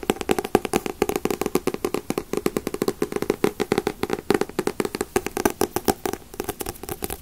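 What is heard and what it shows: Fingertips tap steadily on paperback manga volumes such as One Piece, Naruto and Bleach. Dozens of quick, dry, papery taps with a hollow midrange tone around 400 Hz come in a dense, fairly even rhythm. Each tap dies away almost instantly.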